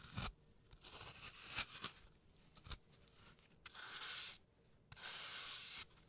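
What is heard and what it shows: A hand-sized solid green floral foam block, carved into a rounded brain shape and held in a latex-gloved hand, is scraped with a blade tool. Bright, dry scraping and tearing strokes come in short bursts and two longer sustained scrapes, with little low end.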